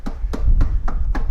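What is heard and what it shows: Taps on an aluminum fence panel of a Bennington pontoon boat, fitted with backing between the rails and panel. The evenly spaced taps sound short and dense rather than rattly, over a steady low rumble, indicating a well-constructed boat.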